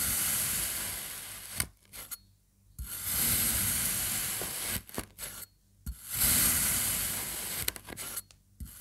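A serrated knife makes repeated thin slices through the orange and yellow triangles of a solid rainbow kinetic sand slab. Each cut is a long, bright, gritty scraping hiss, separated by brief near-silent pauses and small crumbly ticks.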